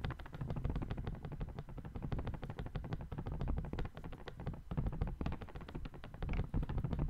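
A small, thin, light folded white paper sheet with brown marks is held by the fingertips of one hand above the microphone and crinkled and shaken. It makes a steady, soft, crisp rustle of dense, rapid crackles with a heavy low body, rising and falling slightly in loudness for the whole clip.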